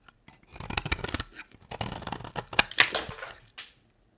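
A utility knife blade carves long curls off a solid beige square bar of dry soap, making a series of crisp, dry scraping and crackling strokes with a bright, papery texture. The shaving sounds come in overlapping bursts and end with one short final scrape.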